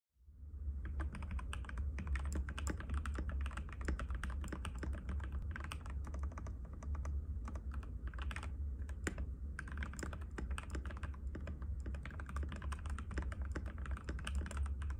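A compact cream-white mechanical keyboard with plastic keycaps and a hollow case rests on a glass table while both hands type rapidly and continuously. A steady stream of short, sharp clicky taps sits over a strong, deep low-end rumble that fills nearly the whole clip.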